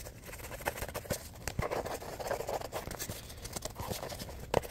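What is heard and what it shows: A small composition notebook with a cardboard cover and worn, wavy paper pages is fanned, riffled and scratched with fingers. Soft papery rustles and quick scratchy flicks patter unevenly throughout, with a few sharper taps standing out, including a louder one near the end.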